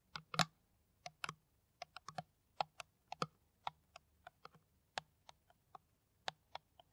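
A clear, ridged, hollow, empty PET water bottle with a white cap is tapped with the long nails of both hands. The result is an irregular run of short, crisp clicks with a hollow mid-pitched knock and a bright edge, each dying away almost instantly.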